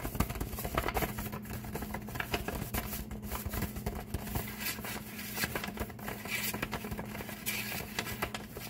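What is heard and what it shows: A flat, empty brown kraft paper bag lying on a table is tapped and rubbed with fingertips and nails, sometimes with a flat palm. The result is a steady stream of soft, crisp pats, crackles and scratchy rustles with bright papery edges, over a faint constant low hum.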